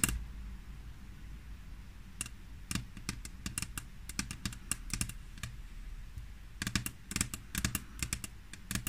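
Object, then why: Glass tabletop. Long natural nails on the fingertips of both hands tap and click across a large, flat, solid grey glass tabletop. The result is a run of sharp, bright, very short clicks in uneven bursts that stop almost instantly, over a steady low background hum.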